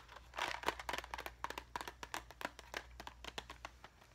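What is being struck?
Small hard plastic box filled with plastic rhinestones.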